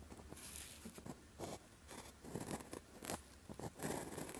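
The tip of a clear plastic gel pen with a blue grip scratches short strokes across a thin paper calligraphy practice sheet with a red grid while writing Chinese characters. The result is a quiet series of brief, dry scratches, each one bright and papery, with soft pauses between strokes.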